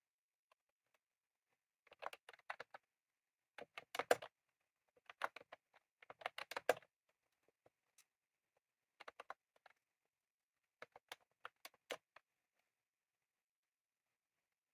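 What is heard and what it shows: Both hands type with their fingertips on a full-size retro-style plastic mechanical keyboard with round cream plastic keycaps and a plastic case, resting on a desk. Quick, dry, clicky key taps come in short uneven bursts separated by quiet pauses, centered in the midrange around 500 Hz with bright clicky edges. Each tap dies away almost instantly.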